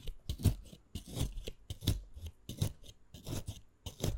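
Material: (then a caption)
Plant leaf. A narrow blade rapidly scores diagonal lines into the surface of a solid, wet, crosshatched green fresh aloe vera leaf held on a wooden board. Each stroke gives a short, wet, crunchy scrape with a low, dull body and a crisp bright edge, arriving in an uneven rhythm. The strokes are quick and dry-ending, with little ring after each one.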